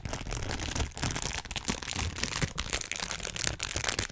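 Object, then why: Thin plastic bag. A small, thin, empty transparent plastic bag is crumpled and rubbed between the fingertips of both hands just above a microphone. The result is a dense, continuous crinkling with sharp, bright crackles riding over a soft low rumble, rising and dipping in short bursts for about four seconds.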